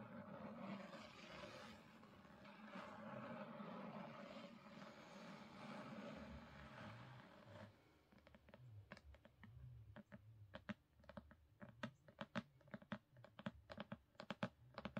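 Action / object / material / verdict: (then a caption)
tap / hardcover book / cardboard / none. Long pink nails work a black, gold-foiled hardcover book resting on a carpet, tapping quickly on its top edge and cover. For the first seven or so seconds there is a continuous soft, scratchy rustle. It then gives way to a fast, uneven run of sharp, dry taps that die away instantly.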